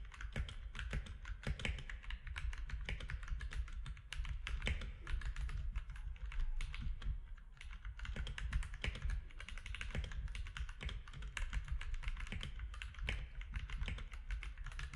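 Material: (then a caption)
Plastic. Fingertips of both hands type steadily on a compact mechanical keyboard with grey, white and orange plastic keycaps. Rapid, short, dry key clicks with bright edges ride over a constant low rumble for the whole clip.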